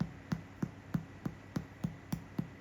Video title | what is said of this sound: 100% Rye Sourdough Loaf (All the Secrets) | If it sounds hollow, you did it, my friend.